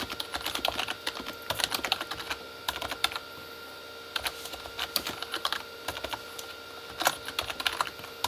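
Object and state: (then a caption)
Plastic keyboard being typed on. Both hands type with their fingertips on a full-size Corsair K35 plastic mechanical keyboard with red-backlit plastic keys. Bursts of quick, bright plastic clacks come in uneven runs, broken by short pauses. A faint steady hum sits beneath the typing.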